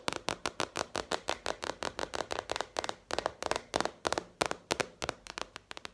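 A gray plastic cutting board from IKEA, sold in a two-pack and ridged on the back, is tapped about 30 times in a quick, steady run. Each tap is short and dry with a clicky midrange tone and almost no low end, dying away almost instantly.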